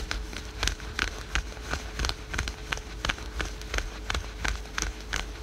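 Fingernails scratch fast over patterned, printed spandex/polyester yoga pants worn over the knee. The result is rapid, uneven bursts of bright, crisp scratching, about three per second, over a low rumble and a faint steady hum.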